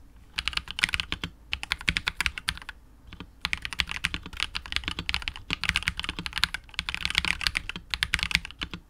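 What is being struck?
Plastic mechanical keyboard with plastic keycaps.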